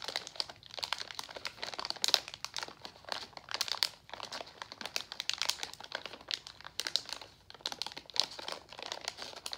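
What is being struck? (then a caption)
Plastic foil candy pouch. A pink Nerds Gummy Clusters resealable plastic foil candy pouch, full of candy, is held and squeezed with the fingertips. It gives off dense, bright crinkling in quick bursts with short pauses between them, with almost no low end.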